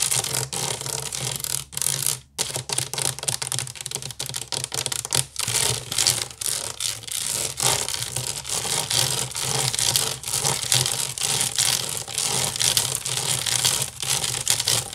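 Fingernails of both hands scratch quickly over a large, hollow, woven wicker basket. The result is a dense, bright, crackly rustle of rapid, uneven ticks that runs almost continuously for the whole clip, with brief dips near 2 and 5 seconds over a faint steady low hum.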